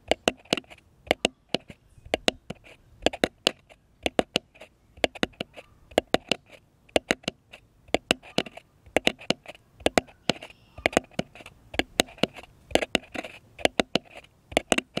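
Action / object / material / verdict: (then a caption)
tap / flat wooden cross cutout / wood / none. Fingertips and nails tap a flat, solid, light-colored wooden cutout cross held upright, in quick clustered bursts of short, dry clicks. Each tap dies almost instantly, with a hollow woody knock in the mids and a bright clicky edge from the nails, and the rhythm runs unevenly throughout.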